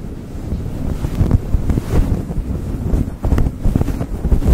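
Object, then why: Synthetic fur microphone windscreen. Fingertips and short nails of both hands rub and scratch a soft, fibrous, fluffy grey synthetic-fur windscreen on a rhinestone-decorated USB microphone. The result is a dense, muffled, low rumbling scratch concentrated in the deep bass, with almost no high end. It runs continuously with frequent brief swells and sharper scrapes throughout.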